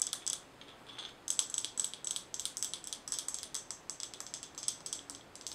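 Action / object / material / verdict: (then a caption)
tap / glass mason jar with metal screw lid / glass / none. Long nails tap and scratch on the glass of a mason jar with a gold metal screw lid, filled with colorful small items. A quick run of sharp, bright clicks and scrapes comes in uneven bursts, with a short lull near the start. Each hit dies away almost at once, with no low body beneath it.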